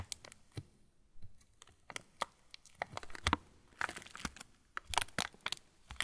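An opened yellow plastic TUC cracker wrapper, partly full of crackers, is crumpled and crinkled with the fingers of both hands. It makes a run of sharp, bright crackles and crinkles in quick irregular bursts, with brief quiet gaps between them.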